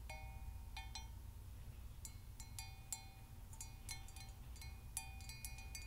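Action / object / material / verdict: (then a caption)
tap / hammered copper mug / copper / none. Long nails tap the outer wall of a hollow, apparently empty hammered copper Moscow mule mug with a brass handle. Each quiet tap gives a bright metallic clink with short ringing tones near 2.5 kHz. The taps come in irregular clusters over a steady low rumble.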